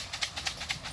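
A full plastic box of pigeon feed is shaken to signal feeding time, calling young racing homer pigeons, trained to respond to the sound, into the loft. Quick bursts of bright, dry, maraca-like grain rattle repeat, each cutting off almost at once, with very little low end.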